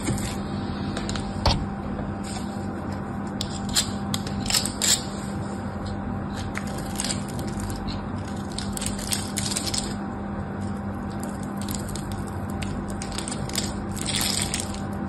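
A knife blade carves and scrapes flakes off a hand-sized solid pink bar of soap with a crumbling surface, dropping chips onto the table. Soft, crisp scraping and crackling bursts with bright edges come and go over a steady low hum with a faint tone underneath.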